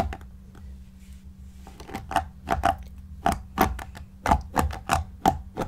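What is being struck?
Stuffed shaggy yarn cushion.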